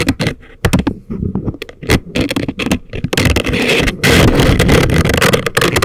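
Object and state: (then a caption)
Silicone ear model scraped with wooden picks. Thin wooden ear picks scrape and scratch inside the ear canals of a pair of life-size, soft, solid rubbery silicone ear models on a binaural microphone. Close, dry scratching comes in quick irregular strokes with deep thumps, then builds into a denser, louder, brighter rasp in the second half.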